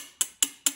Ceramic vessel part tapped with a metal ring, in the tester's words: it's not the same so therefore there's a problem with this spot